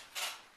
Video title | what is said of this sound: How To Pack Dried Flower Arrangements - Video 6 of 16 | I'm shaking it it's not sloshing around in there